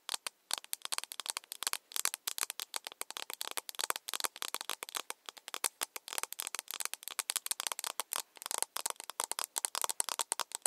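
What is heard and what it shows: A small, empty, hollow, pink-lit plastic cup is held in both hands and tapped all around its side with long nails. Quick, dry, clicky taps come in rapid irregular bursts. The sound is bright and crisp, with no low end and almost no ring after each tap.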